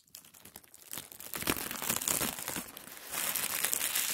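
A wrinkled sheet of thin white tissue paper is spread flat, then smoothed and rubbed with both palms and fingers. The result is a steady, bright crinkling and rustling that swells louder over the clip.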